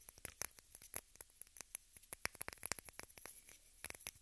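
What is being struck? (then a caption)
Small plastic case. A small rectangular pink plastic case held in both hands is tapped and scratched with long red nails. About two dozen quick, dry, bright clicks fall at an uneven pace, with faint scratchy rustling between them. Each tap stops almost instantly, and the overall level stays quiet.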